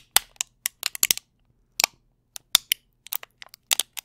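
A brown plastic candy tray is pressed and crunched with fingertips and nails close to the mic. About fourteen sharp, bright crackles and snaps come in irregular bursts with short silent gaps between them. Each one stops almost instantly, with no low end.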